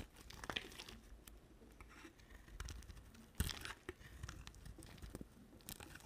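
A solid white bar of soap with a red rim is scraped and shaved with a utility knife blade. Soft, dry crinkling and scratching strokes run throughout, with sharper crunchy snaps standing out near the start and in the middle.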